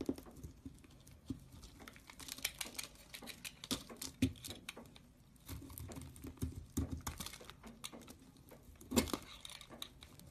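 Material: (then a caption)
Soap. A blade shaves dry curls off the same beige soap bar. Quiet, irregular scraping and crinkling with sharp, brief ticks and louder flicks scattered throughout, the strongest near the end.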